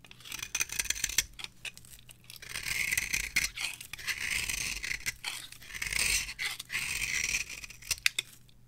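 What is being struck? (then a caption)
Bar of soap scraped with a small blade. A small metal blade scrapes and carves fluffy shavings from the end of a solid, palm-sized, orange rectangular bar of dry soap held in the hand. Dry, bright scratching strokes come in short bursts and longer, steady passes, with a hissy high-pitched texture and little low end. Quick ticks separate the passes, and the scrapes stop cleanly without ringing.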